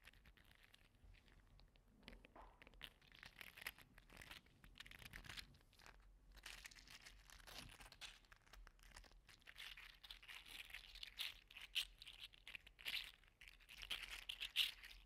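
A small gold-orange 3D printed plastic articulated slug toy is held in the hand, curled and squeezed with the fingers. Its segments clack against each other in dense, quick, bright crinkling clicks throughout. The sound is quiet, with brief high snaps standing out toward the end.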